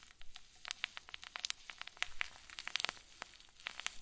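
A clear zip plastic bag full of white fluffy stuffing is squeezed with both thumbs, giving a quiet, steady run of bright, crisp crinkles. Many sharp little snaps and clicks pop out over a soft rustling bed, each dying away instantly with no ring.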